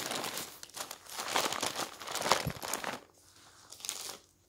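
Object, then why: Newsprint paper pages. Hands grab, fold and turn the pages of a stack of thin newsprint newspaper, crinkling the paper. Bright, broadband rustling and crackling bursts come close together for about three seconds, then drop to a quiet hiss with one last short flurry of crinkles before fading out.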